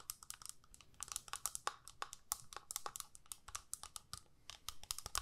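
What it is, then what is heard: Plastic eyeshadow palette. Long nails tap and scratch the clear lid of a small, hollow plastic eyeshadow palette held up close. A quiet, rapid stream of crisp, bright clicks and scratchy ticks comes with a faint mid-range clack, each tap dying away almost instantly.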